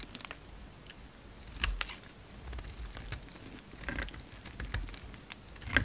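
A utility knife blade chips off pieces of a solid pink soap bar held in the hand and scrapes across its surface. Quiet, dry scraping is broken by short, crisp clicks and a few sharper snaps as bits break away, with no ring after each cut.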